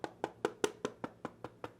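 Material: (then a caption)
Plastic. Nine quick taps on the all-plastic back of a Ducky One 3 SF 65% mechanical keyboard give short, dry knocks with a woody, mid-pitched tone around 400 Hz that die away almost at once. The back sounds a little hollow and not nice because it is all plastic, though the keyboard feels solid on the desk.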